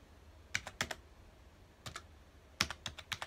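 Fingertips of both hands rapidly press keys on a full-size black plastic computer keyboard resting on a dark desk. Twelve short, bright clicking taps arrive in three irregular bursts, each with a quick dull thud underneath and almost no ring.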